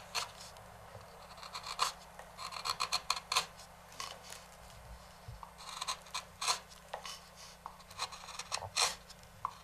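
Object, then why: Walnut wooden bowl. A wooden-handled carving knife scrapes and rasps along the rim edge of a large, hollow, empty walnut bowl sitting on a stopped lathe. The result is a series of dry, bright, irregular scratchy strokes in quick bursts with brief pauses, each dying away at once with no ring.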